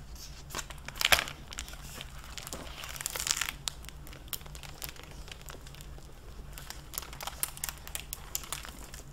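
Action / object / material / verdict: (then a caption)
scrape / hardcover book in a plastic dust-jacket cover / plastic film / none. A dark-blue hardcover library book in a clear plastic dust-jacket cover is opened, and its jacket and pages are flexed by hands with long nails. The plastic gives off bright, crisp crinkling in short bursts, with louder crackles near the start and around the three-second mark. Under it all sits a faint steady low hum.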